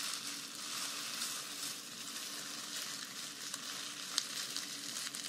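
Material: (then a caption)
Dried grass. Long nails and fingertips scratch and rub through a large bundle of long, thin, green dried grass or raffia strands from a grass skirt, held up close. This makes a steady, bright, hissing rustle with almost no low end, broken by a few sharp little ticks.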